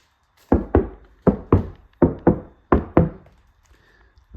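A steel door panel on a Civic, treated with a sound-deadening mat, is knocked on in four quick double-knocks and a final knock, for nine hits in all. The knocks are dull, low thuds with almost no ring, and the panel sounds solid.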